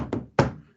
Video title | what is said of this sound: Aula Exame Físico Abdominal | Uma coisa dura é um som maciço